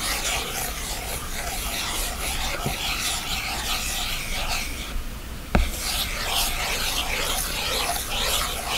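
The plastic tip of an Apple Pencil is rubbed and stroked across the glass screen of a large iPad with a black display, lying flat. A steady, bright scratching rub continues over a low hum, easing briefly near the five-second mark before a single sharp tap, then the rubbing resumes.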